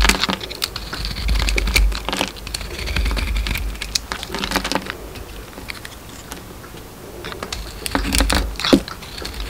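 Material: Soap.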